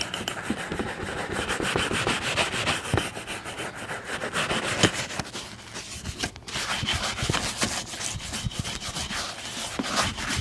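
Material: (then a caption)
Leather. A wooden bristle shoe brush is worked back and forth over a brown leather boot, giving a steady run of scratchy, bright brushing strokes. The strokes come quickly and unevenly across the clip, with a brief pause just past the middle.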